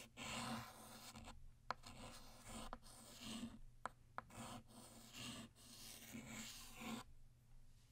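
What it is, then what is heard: Chalk writing on a chalkboard. A white chalk stick writes the cursive word "Happy" and begins "New" on a flat black chalkboard. Dry, bright scratching strokes come in bursts, with brief pauses and a few sharp taps where the chalk strikes the board.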